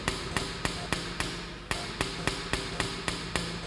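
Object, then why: Pen on a wooden table. A pen is tapped repeatedly on a table, giving 12 sharp, short knocks at an uneven pace with a bright click on top and a low woody thud beneath. The tapping sounds different from pen striking pen because the struck object is made of a different material.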